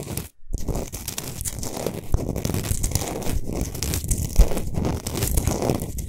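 Long nails scratch quickly over a large, solid Himalayan salt sphere lamp that is lit from inside. After a brief silent gap near the start, a dense, continuous crackling rasp follows, heavy in the low end, with a few sharper crunchy peaks.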